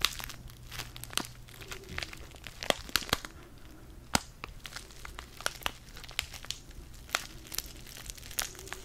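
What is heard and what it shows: A small, flat DavidsTea sachet of foil-laminated paper, filled with tea, is held in the fingers close to the mic and crinkled and squeezed. The result is a dense run of sharp, bright crackles and crunches over a faint low rumble.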